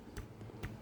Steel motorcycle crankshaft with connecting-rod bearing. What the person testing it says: kung meron kayong maririnig na tunog is palitin na yan. At sa atin is wala pa naman na yung makikirinig